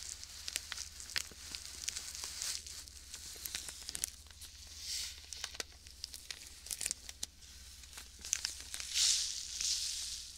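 A small clear plastic bag full of white sand is squeezed and rubbed with fingertips right next to the mic. The sand shifts with a soft, bright hiss while the plastic crinkles in quick, irregular crackles, with a few louder rustling swells. Almost all the sound sits high, with very little low end.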